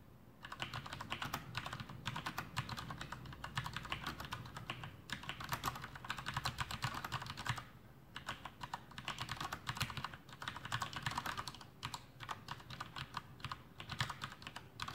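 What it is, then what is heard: Plastic mechanical keyboard. Both hands' fingertips type continuously on a full-size black plastic Masterkeys Pro M mechanical keyboard with Cherry MX Brown switches and blue backlit keycaps, resting on a desk. A dense, steady stream of crisp, bright key clacks rides over a soft low thud of keys bottoming out, with a brief pause just before the eight-second mark.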